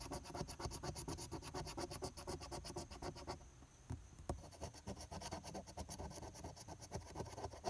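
A flat paper $2 lottery scratch-off ticket, held down by one hand, has its coated play areas scraped back and forth with the edge of a metal coin. The result is a fast run of dry, gritty scratching strokes with bright hiss. A quieter pause falls near the middle, marked by a couple of sharp ticks, before the scratching resumes.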